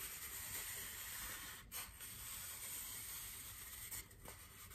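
A large, white, solid styrofoam wreath ring is held in both hands and rubbed and scratched with fingers and nails. It makes a steady, bright, hissy scraping texture with a few brief breaks and squeaky accents, at a fairly quiet level throughout.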